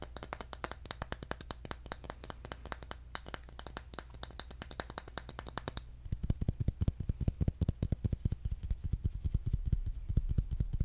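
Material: Bamboo.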